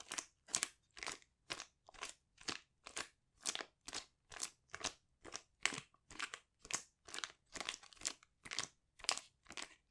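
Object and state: Foil sheet mask sachet.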